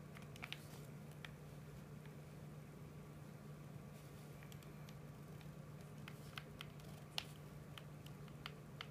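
A hollow, hard plastic PS4 controller is held in both hands while thumbs tap and click its buttons, making short, sharp, bright clicks scattered across the clip. The clicks sit over a quiet, steady low hum.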